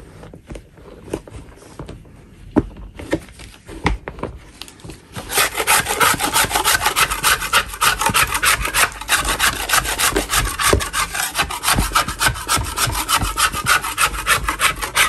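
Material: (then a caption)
Chalk. A gloved hand scrapes the surface of a large solid natural chalk block, sitting in a container of chalk crumbs, with a metal putty knife. Sparse, quiet scrapes and taps for the first five seconds give way to loud, rapid, steady scraping strokes with a dry, gritty, bright rasp.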